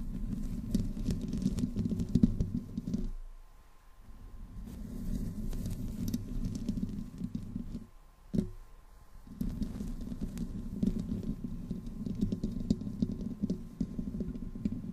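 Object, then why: Metal mesh microphone grille. Long nails on both hands scratch the sides of a black condenser microphone's metal mesh grille, with no windscreen on it. The result is a dense, low, rumbling scrape centered around 200 Hz over a faint steady hum near 1 kHz. The scraping drops away twice, around 3–4.5 s and 8–9.3 s, with a sharp tap near 8.4 s before it resumes.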